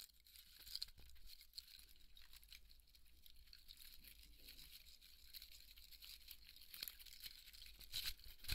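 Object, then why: Polystyrene foam ball. Fingernails scratch and rub the surface of a large white polystyrene foam ball, cut but held together in both hands, with foam crumbs on the table. A dense, bright, squeaky crackling runs throughout, with sharper scraping bursts near the start and end over a steady low hum.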